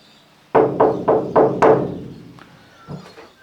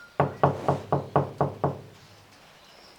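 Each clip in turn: First: undamped sheet-metal van wall, resonant. Second: van wall panel deadened by dampening mats.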